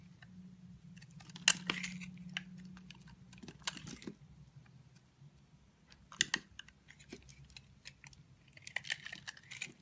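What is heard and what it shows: A utility knife blade shaves curls off the edge of a solid, dry, translucent brown bar of soap held in the hand. Bursts of crisp, bright scraping and crackling are punctuated by sharp clicks over a faint low hum.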